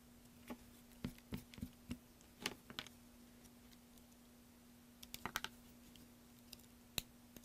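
A rectangular solid green bar of soap, held by hand on a black mat, is scratched and scraped first with a thin metal carving pick and then with a small metal knife, shedding small curled shavings. About eighteen quiet, sharp, bright clicks and scratches sound in scattered clusters, each dying away almost instantly, over a steady faint low hum.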